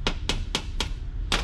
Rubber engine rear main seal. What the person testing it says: actually sounds like plastic now